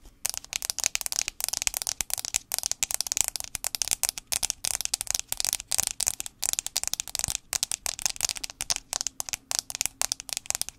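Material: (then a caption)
Aluminium. A fingernail taps rapidly on the metal back casing of an iPhone 6s. The sound is a fast, uneven stream of dry, bright, high-pitched clicks that stop instantly, with almost no low end and no ring.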